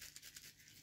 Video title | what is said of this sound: Daisy P51 slingshot kit | if i shake it listen to this you could hear like there's more of them